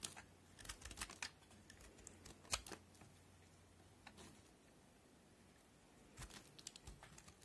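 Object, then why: Bar of soap cut with a knife blade. A utility knife blade cuts crisp notches into the edge of a solid white cream soap bar held in the fingers, from a set of NC, Linom and FAX white soaps. Short, bright, crunchy snaps and scrapes come in bursts at the start, around the middle and toward the end, separated by a quiet stretch. A faint low hum sits underneath for the first half.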